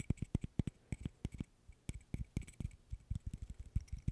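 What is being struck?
Small interlocking wooden stick puzzle.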